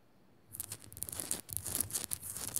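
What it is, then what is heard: Rock salt lamp scratched with fingernails. A Himalayan rock salt lamp is scratched quickly with fingernails. After about half a second of near silence, a dense, bright, rasping scratching starts and continues, with quick bursts of high, crisp grit and very little low end.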